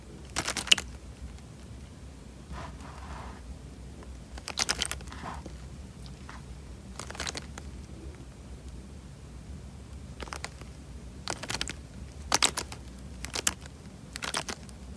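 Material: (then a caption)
Plastic. A clear plastic bag full of water, tied at the top, is held in the hand and squeezed and pressed with the fingers. It gives short, bright crinkling and crackling bursts in scattered clusters, with softer squishy rustles between them, over a low steady hum.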